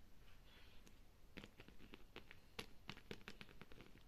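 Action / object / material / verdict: tap / leather handbag with metal fittings / leather / none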